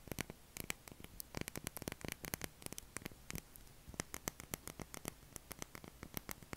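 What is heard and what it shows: A solid light-blue bar of soap held in both hands has its face and edge scratched and tapped with short fingernails, leaving shavings piling up on the table. A rapid, irregular run of crisp, bright taps and short scratches sounds over a faint low hum and steady hiss.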